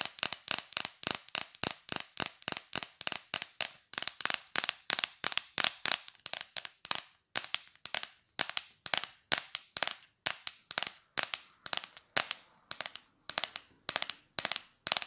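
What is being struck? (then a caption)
Small cardboard cereal box. A small, hollow Corn Flakes cardboard box is held in both hands and tapped quickly with long, dark, polished nails. A steady run of crisp, dry, bright clicks follows, each one short with almost no ring and no low end, with a few brief scratchy strokes between the taps.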